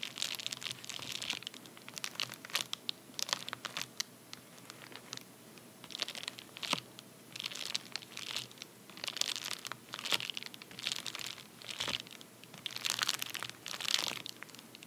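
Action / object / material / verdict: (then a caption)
tap / padded paper bubble mailer / paper / none. Fingertips and nails tap and scratch across the surface of an empty padded paper bubble mailer lying flat. Bursts of bright, crinkly scratching alternate with sharp, quick taps, separated by brief quiet gaps.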